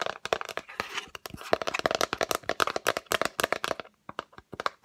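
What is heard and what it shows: Long acrylic nails tap quickly on the lid of a yellow Fendi cardboard gift box, rectangular and hollow, held up in front of the face. The clip is a dense run of short, dry, hollow clicks with almost no ring, bright and crisp with little low end. The taps come in rapid bursts with a brief pause near the end.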